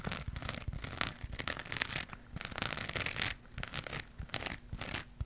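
Long pink nails scratch a round crocheted yarn pad with a rainbow pattern and white edge, held in one hand. The result is a rapid run of dry, bright, papery scratching strokes with soft rustling between them, briefly dipping quieter about two-thirds of the way through before picking back up.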